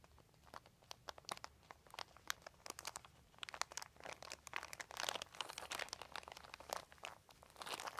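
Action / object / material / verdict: scrape / thin plastic sheet / plastic / none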